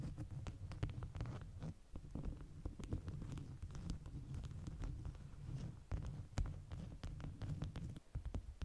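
Long nails tap and scratch a stack of folded, bee-print beeswax cotton food wraps lying flat, while fingers press and scratch along the edges. The result is a steady run of soft, muffled low thumps layered with quick, crisp ticks and scratchy rustles, with brief quieter gaps between bursts.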